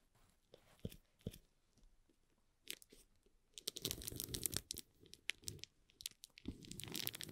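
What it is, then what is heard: Shrink-wrapped cardboard box, plastic film crinkling. Fingertips rub the plastic shrink wrap on the sides of a small, hollow cardboard box, making crinkles. At first there are sparse, soft crackles and taps. Then, from about three and a half seconds in, the film is rubbed more steadily and gives a dense, bright, crunchy crinkling with a hollow low body.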